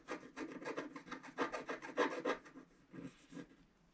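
A wooden stylus scratches the coating of a flat, black-coated scratch-art sheet, about A4 size, lying solid on a table, working around a drawn vase and the lower right of the picture. A quick, uneven run of short, dry rasping strokes with a bright, papery hiss grows louder in the middle, then thins to a few softer scratches at the end.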